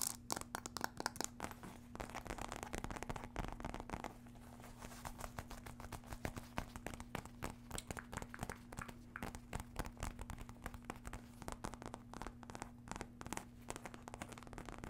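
Long dark red nails tap and scratch the surface of a hollow red faux leather wallet clutch with a metal emblem and zipper, held in hand. Dense, quick clicks and scratchy rustles continue throughout over a steady low hum.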